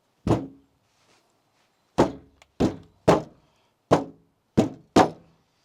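A steel Jeep door panel is pressed and knocked, giving seven loud, dull thunks with short hollow decays and a couple of fainter taps between them. The panel flexes and oil-cans because the old sound-deadening stiffening plate inside is all cracked.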